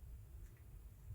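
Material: Nothing is struck.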